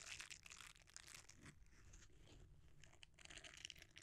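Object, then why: Silicone bristle scrubber. A red silicone bristle scrubber is rolled, then cupped and squeezed with both hands. It makes quiet, close, bright crinkling and crunching rustles in uneven bursts, with a soft low rumble underneath.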